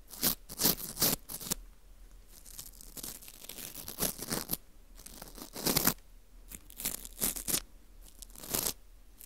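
A porous dried wheat gluten ring (fu) has its edge and center hole scraped with a teal plastic scraper. The result is a series of short, dry, crackling bursts with a bright, crisp texture, separated by quiet pauses.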